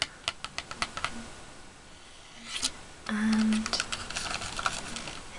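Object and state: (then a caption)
Cardboard candy box. Fingernails tap a small printed Jelly Belly cardboard box held flat in both hands, making light, dry, clicky taps that stop almost at once. The taps come in irregular bursts, with a short louder cluster near the middle. A brief steady low tone sounds just after the middle, under the continuing taps.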